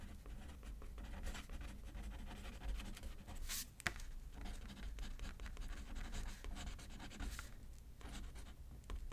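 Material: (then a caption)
Paper. A pen is used left-handed to write on a thin paper card resting on a paper pad. Quiet, continuous scratchy strokes with brief bright bursts sit over a steady low hum.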